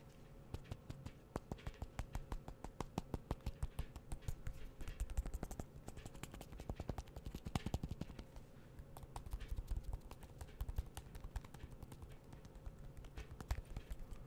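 A small, solid gold iPhone-style smartphone with an aluminum metal back is held in one hand and tapped with the fingertips of the other. Quiet, rapid, irregular fingertip taps patter across the whole clip, each short and dry with almost no ring. The tone is dull and low-heavy, with a faint steady hum underneath.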